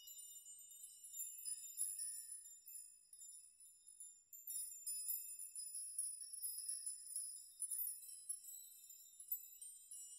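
A large hanging chime made of many thin metal nails on strings is gently rocked and brushed with fingertips and open hands, so the dangling nails clink together. The result is a quiet, continuous shimmer of high, bright tinkling with short, overlapping rings and irregular swells in loudness.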